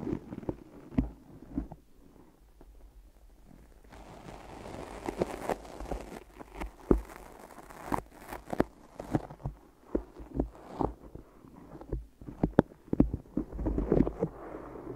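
Fingers grip, press and tap the sticky sides and tops of adhesive tape-covered microphone ears, making a steady run of short, close, dull taps and soft sticky crackles. Each one is low and muffled and stops almost at once, with a brief stretch of brighter rustling hiss in the middle.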